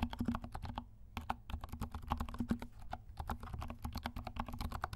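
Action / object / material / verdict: tap / plastic mechanical keyboard / plastic / none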